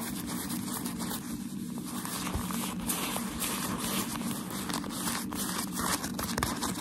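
White crumpled tissue shoe-packaging paper is held flat in both hands while fingertips and nails scratch and tap its surface. The result is a steady stream of dry, crinkly rustling and scratching with bright crackles and small taps scattered throughout, over a low, even rumble underneath.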